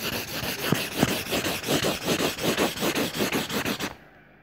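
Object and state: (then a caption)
Crayon scribbling on paper. A yellow crayon, held in fingertips with pink nails, is rubbed back and forth in hatching strokes to color a circle on the page of an open lined paper notebook lying flat. About 17 quick, rhythmic waxy scratching strokes are heard, with a bright, papery rasp. The strokes stop just before the end, leaving near silence.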